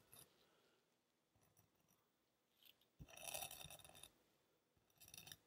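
The tip of a red knife scratches and drags across the sandy top of a palm-sized footprint molded from solid kinetic sand, lying on a white surface. The result is crisp, gritty scraping with a bright hiss, coming in short bursts between quiet pauses. The longest and loudest drag falls in the middle, followed by a shorter one near the end.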